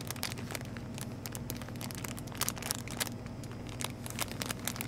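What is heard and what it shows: A full red printed plastic wrapper around a 5-pack of Top Ramen beef noodles is held in both hands and crinkled and scratched with long painted nails. Dense, bright crackling and crinkling snaps come in rapid bursts over a steady low hum, with sharper spikes scattered throughout.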